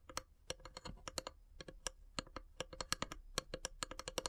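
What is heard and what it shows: Long grey-polished nails tap and scratch along the carved, perforated lid of a long, narrow, hollow wooden incense box with small brass elephant inlays, resting on a wood-slice mat. A quick, irregular run of dry, clicky taps sounds, each short and bright with almost no ring, over a faint scratching hiss.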